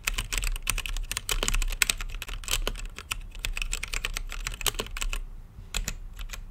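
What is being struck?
Mechanical keyboard with plastic keycaps.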